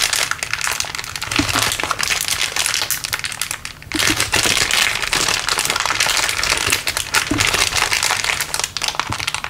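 A small, crumpled, clear LDPE plastic bag is squeezed and crinkled in one hand above a wooden table. It makes a dense, continuous stream of bright, crackly crinkles with a faint low hum underneath. The crinkling briefly dips in loudness just before the 4-second mark, then resumes at full intensity.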